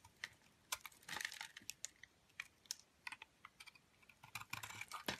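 A metal blade scrapes powdery shavings off the edge of a green solid soap bar held in the hand. The result is a quiet, irregular run of short, crisp, bright scratchy ticks with brief, denser rasping bursts and almost no low end.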